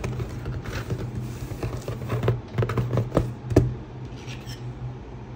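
Fingertips of both hands tap and rub the top of a medium, closed, hollow corrugated cardboard shipping box with a taped seam and labels, lying on a table. Soft, dull, hollow taps with a low resonant thud sit over a steady scratchy rubbing. The taps come irregularly, with a few louder ones near the middle, and die away quickly.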